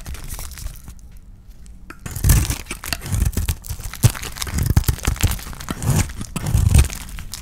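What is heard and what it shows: A utility knife blade shaves and scrapes a dry, solid oval white soap bar with a blue painted rim, held in the hand. Light, soft scraping for the first two seconds gives way to dense, crunchy, crackling cuts with short sharp snaps. The bursts are heavy in the low end and barely ring after each stroke.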